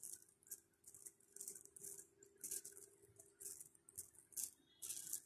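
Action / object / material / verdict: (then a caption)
shake / plastic pearl bead necklace / plastic / none. A long strand of small pink plastic pearl beads is held close and shaken and rolled between fingers. The beads clatter together in quick, bright rattling bursts with brief pauses between them, all high in pitch with almost no low end, over a faint steady hum.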